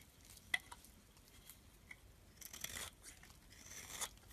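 A metal utility blade scrapes thin curls from the surface of a solid blue branded bar of soap held in the palm. Quiet, bright, dry scratching comes in short strokes with a sharp tick near the start, then longer hissing scrapes toward the end.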